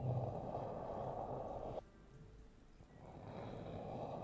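Fingertips and short nails tap and scratch the black rubber/silicone ear pieces of a 3Dio binaural microphone with a metal body, making a dense, muffled, low-to-mid rustling. The scratching stops abruptly, leaving a quiet gap, then gradually builds back to a steady scrape.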